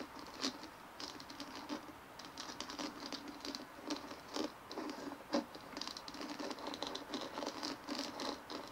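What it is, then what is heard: Plastic bumpy ball. Long manicured fingernails of both hands scratch and tap a large, palm-sized white plastic ball with a dimpled surface resting on a wooden table. The result is a quiet, continuous patter of light, bright clicks and scratchy rustles, with a few sharper taps standing out.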